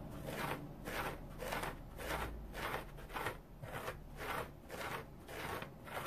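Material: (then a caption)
Cellulose. A round, dry, multicolored striped cellulose sponge is held and scratched with fingernails. Soft, papery rasping strokes repeat at a steady, somewhat uneven rhythm, each a brief bright scratch that swells and fades against a low, quiet background.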